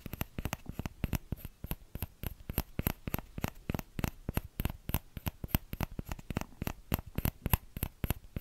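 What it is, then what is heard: Plastic ladle tapped with fingertips. Fingertips tap the hollow bowl of a small orange plastic ladle in a quick, steady stream of short, dry taps. Each tap gives a low, hollow knock with a brief bright click on top and dies away almost at once.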